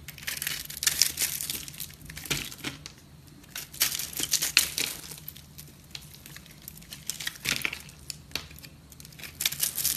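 A metal knife scrapes and cuts through a porous, airy pink foamy soap bar held in the hand, breaking off crumbly pieces. Bright, dry crunching and crackling come in bursts separated by quieter stretches of faint scraping.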